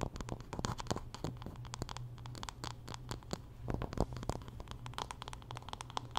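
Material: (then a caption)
Wood. Long nails scratch along the wooden back and handle of a solid wooden paddle hairbrush held horizontally. The result is a dense run of quick, dry scratching strokes with bright, crisp edges that die away almost instantly, over a steady low hum.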